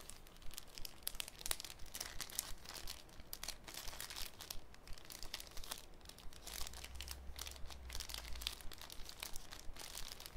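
A thin sheet of clear cellophane, folded into a small flat rectangle, is squeezed, bent and crinkled between the fingertips of both hands over a wooden table. It makes a steady stream of dense, bright crackles and sharp crinkling snaps that die away instantly, at an uneven rhythm over about ten seconds. A low, steady hum sits underneath and grows a little stronger near the end.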